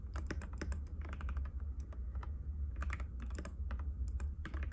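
Fingertips of both hands type continuously on a compact cream-white mechanical keyboard with plastic keycaps and a hollow case, resting on a glass table. Rapid, short clicky taps tumble over one another, each dying away almost at once, over a steady low hum.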